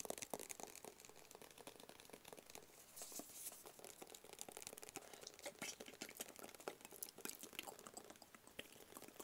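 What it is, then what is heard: Cardboard gift box. A small, rigid, hollow black cardboard Tommy Hilfiger gift box is held in both hands and tapped quickly with fingertips and nails. The result is a steady stream of soft, dry, bright clicks and taps with almost no low end and no ring after each hit.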